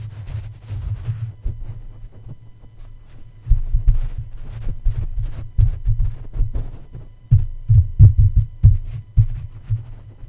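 A plush toy's paw and feet tap and rub against the hollow black metal mesh grille of a red condenser microphone. The result is a series of soft, deep, muffled thumps with a low hum around 105 Hz, like a throbbing heartbeat, each dying away almost at once. Quieter rubbing fills the gaps between the louder bursts of taps.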